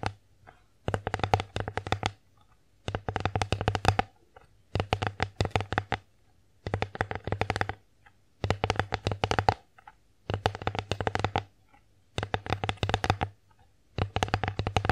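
An empty wooden bear-face plate is held and moved in the hands while long acrylic nails tap and scratch across its surface. Rapid, dry clicking taps come in eight bursts of about a second each, separated by short quiet gaps, each tap sharp and quickly fading, over a steady low hum.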